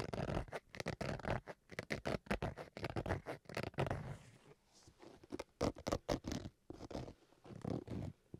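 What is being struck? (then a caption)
Fabric-covered hard-shell carrying case. Fingertips and nails scratch the face and edge of a black zippered Switch carrying case with a fabric-covered hard shell. The result is a rapid series of short, rasping scratches with a low, full body and little high end, broken by brief quieter gaps.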